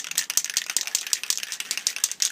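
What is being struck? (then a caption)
Metal aerosol spray paint can. A metal aerosol spray paint can is shaken repeatedly before the first spray, its bright, dry rattle sounding as short, rapid clicks with about 13 distinct bursts over a couple of seconds. The rattle shows the paint is being mixed, as it normally should be.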